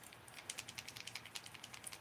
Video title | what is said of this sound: Rogers Unboxing Bait Better Than A Wiggle Wart Rock Crawler | sometimes you got to take it and knock it on something hard to get it to Rattle